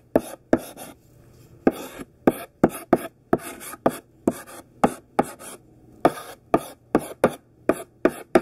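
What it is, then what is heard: Chalk writing on a chalkboard. A thick stick of pink sidewalk chalk, held in the hand, writes words on a large flat black chalkboard. It makes a series of short, dry scratching strokes, about 18 in all, each a quick burst of bright, gritty friction separated by brief silences.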